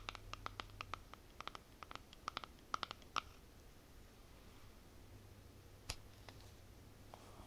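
Long nails tap and scratch the lid and side of a small white plastic cosmetic jar. A rapid series of short, dry clicks with a bright ring near 1.4 kHz fills the first three seconds over a faint low hum. A few scattered taps and soft scratches follow.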